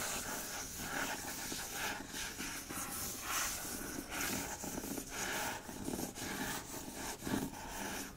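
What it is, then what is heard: Hardcover book dust jacket being scratched. Fingertips scratch the front of a hardcover book's paper dust jacket, then trace along its spine. The result is a quiet, continuous, dry scratching and rustling with a bright, hiss-like texture that rises and falls slightly as the motion changes.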